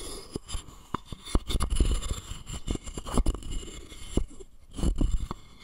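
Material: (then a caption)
Wood. A hollow, turned wooden mortar is knocked on its side and bottom with a wooden pestle. The result is a quick series of short, dull, low knocks that die away almost at once, with some light scraping and rustling between them.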